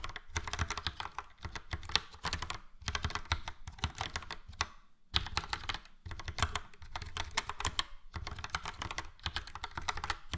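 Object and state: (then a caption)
Plastic mechanical keyboard being typed on. Fingertips of both hands type steadily on a full-size plastic mechanical keyboard, a Logitech POP Keys with a yellow frame and round dark grey and light grey typewriter-style keycaps. Rapid, short, bright clicks with a low thump under each keystroke come in bursts, broken by brief pauses.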